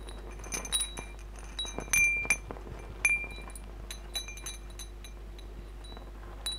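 Fingers push and strum a hanging wind chime of hollow metal tubes with glass crystal beads, so the tubes clink against each other and against the beads. The result is irregular, bright, glassy clinks with short ringing tones near 2.4 kHz over a quiet background.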